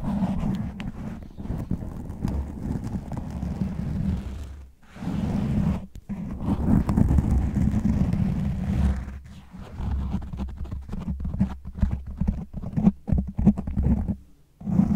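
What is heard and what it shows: Fingernails of both hands claw fast and aggressively at the top of a black foam windscreen, a soft porous cover over the hollow grille of a large condenser microphone. The result is a dense, boomy, low rumbling scratch with a steady hum-like tone near 195 Hz and almost nothing bright above it. It runs continuously, with brief quiet gaps around 5, 6 and 14.5 seconds.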